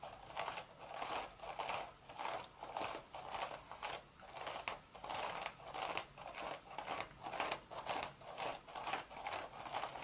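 Long, sharp red nails scratch the hollow woven crown of a cream straw hat. Dry, rasping scratch strokes repeat about twice per second in an uneven rhythm, each a crinkly midrange burst with a bright, papery hiss on top and almost no low end.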